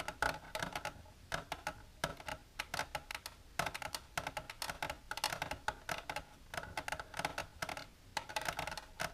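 Long natural nails with silver polish tap rapidly on an empty, hollow, rectangular clear plastic tray-like container with a divided compartment, resting on a blue surface. The nails make sharp, bright, clicky taps in quick bursts and flurries. Each tap is hollow, centred around 1.5 kHz, and dies away almost at once.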